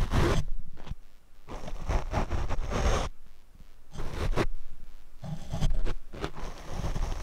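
A paint brush is brushed over the black foam windscreen of a Rode microphone. It makes muffled, rumbling, scratchy swishes that swell and fade in uneven strokes, heavy in the lows with little brightness.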